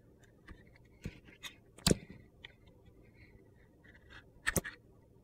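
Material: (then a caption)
Soap. A metal utility knife blade carves and scrapes the surface of a hand-sized solid soap bar with a purple glitter coating and an orange core, held in a hand. Quiet, crisp scraping cuts and short crunchy clicks come in scattered bursts, with a louder gritty scrape near the two-second mark and a sharp double crunch near the end.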